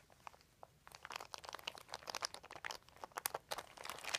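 A hand and fingertips rub and crinkle a large, thin, crumpled white plastic sheet. After a faint, sparse start, dense bright crackles and crisp snaps burst out from about one second on. The crackles are sharp and quickly damped, with almost no low end.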